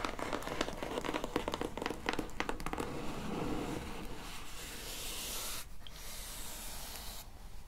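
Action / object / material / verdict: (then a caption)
tap / corrugated cardboard box / cardboard / none. Long painted nails tap quickly on the top of a plain brown, medium-size, closed and hollow corrugated cardboard box, making dull, papery clicks. The tapping then gives way to a steady, hissy scratching over the surface for the rest of the clip, briefly dipping before it continues.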